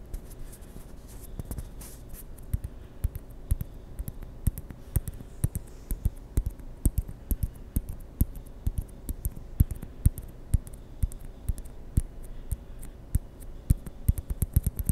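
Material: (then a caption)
Plastic. A small, white, hollow plastic ping pong ball is held close to the microphone and rolled and rubbed between fingertips and palms. It makes a steady, irregular stream of short, dry clicks and taps over a soft, low rubbing hiss. Each click dies away almost instantly.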